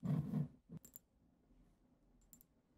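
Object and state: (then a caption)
Glass perfume bottle. Long acrylic nails from both hands tap the sides of a tall, cylindrical, dark-tinted glass perfume bottle with a black cap and liquid inside. A loud, low, muffled tap opens the clip, followed by softer low knocks and a few faint, bright clicks that fade quickly into near silence.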